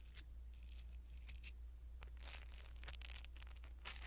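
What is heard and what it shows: A blue silicone-bristle ear pick brushes a small black foam windscreen on a pin microphone, producing soft, bright scratchy rustles and crinkling bursts that come in irregular strokes. A steady low hum sits underneath throughout, and the overall level stays quiet.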